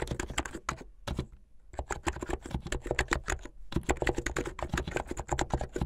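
Fingertips with long painted nails type fast on a full-size plastic mechanical keyboard with white and blue plastic keycaps and a blue backlit case, the hollow keycaps clacking on their switches. The rapid, dense keystrokes have a low, hollow thock under bright clicky tops, broken by two brief pauses before the typing resumes.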